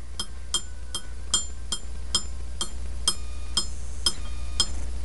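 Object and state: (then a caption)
Ringing iron window weight. An iron window weight sitting inside a coil is tapped repeatedly, giving about a dozen bright, ringing metallic clinks over a low steady hum. The ringing produces a voltage in the coil, and the tapping definitely generates voltage.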